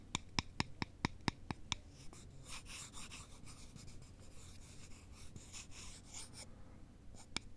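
Two thin, solid wooden sticks held in a cross are worked against each other with both hands. There are eight sharp, dry clicks in quick succession, then a stretch of bright, grainy rubbing and scratching, and a couple of final clicks at the end.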